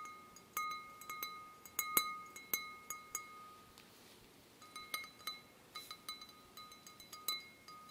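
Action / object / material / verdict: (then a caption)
tap / glass wine glass / glass / none. A wine glass is gently tapped in a quiet series of soft clinks that ring out like a chime, with steady tones near 1.2 kHz and 2.2 kHz and a bright top. The taps come in two runs separated by a short pause, and each one fades quickly.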